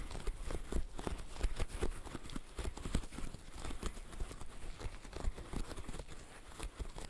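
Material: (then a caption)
Silicone. Gloved fingertips in net gloves press the hollow bubbles of a green silicone pop-it fidget toy, making a rapid, steady run of soft, dull pops. Each pop is a short, low thud that dies away almost at once, with little brightness.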